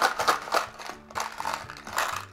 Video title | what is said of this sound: RIESIGES LEGO DISPLAY-UNBOXING (mit Waage) 😨💸 Lego Minifiguren 71039 Marvel Serie 2 Unboxing (x36) | wenn es eben etwas klein, klirriger klingt, dann ist es Beast